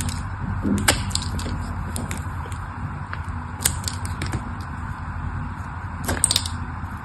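A solid purple bar of soap, held in the hand, is carved with a craft knife that cracks off cubes. Sharp, bright snaps and crisp scraping clicks sound over a steady low rumble, with the loudest cracks near the start, middle and end.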